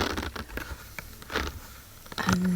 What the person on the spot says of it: they have like a really unique sound when i'm tapping on them